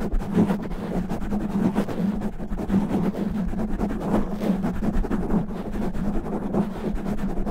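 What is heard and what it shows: Both hands rapidly scratch a black foam windscreen over a microphone head with natural fingernails. The result is a dense, continuous, muffled rubbing and crackling roar, heavy in the lows with a steady hum near 200 Hz and almost nothing bright on top.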